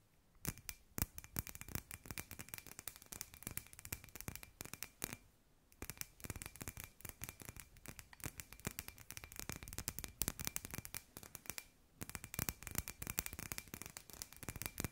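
A hand-sized hollow glass sphere with fairy lights inside is tapped and scratched with long nails, making rapid clusters of short, dry clicks and scrapes that stop almost instantly. Brief pauses come around 5 and 12 seconds, and a faint steady tone near 2.5 kHz hums underneath throughout.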